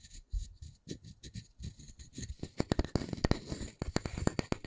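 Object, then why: Wooden disc. A solid round wooden disc is held in one hand while fingertips and nails scratch and tap its face. A quiet run of short, dull, low taps mixes with soft scratching, growing busier and sharper toward the end.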